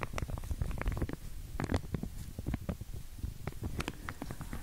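Long glittery nails scratch and flick along the teeth of a pink wide-tooth plastic comb, still in its clear plastic sleeve and held near the ear. Short, dry ticks and soft crinkling rasps patter continuously over a low, muffled rumble. Occasional brighter clicks stand out.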